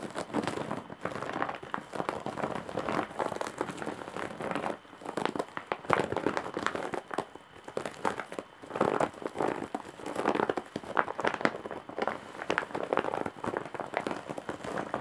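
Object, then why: Woven straw bag. Long nails scratch and press the weave of a large, hollow, embroidered woven straw/jute bag, making dense, dry crinkling and crackling that comes in bursts over about fifteen seconds. The sound sits mostly in the midrange, with little low end and short pauses between the pressing passes.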